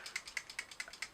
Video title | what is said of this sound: BRUTALLY HONEST RARE BEAUTY MAKEUP REVIEW - TESTED ON OILY, ACNE PRONE SKIN | it does make a rattling noise so i'm going to give it a shake just in case it needs it